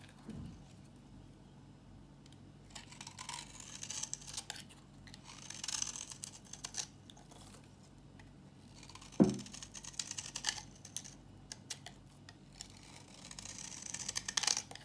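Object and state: Dry bar soap being shaved.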